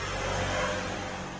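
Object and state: Nothing is struck.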